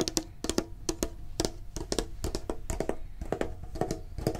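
Fingertips and short nails tap quickly on the sides of a medium-sized, hollow, printed metal Pokemon card tin held in the hand. About twenty short, dry taps each give a brief hollow metallic ring near 320 Hz with bright clicky edges, dying away almost at once.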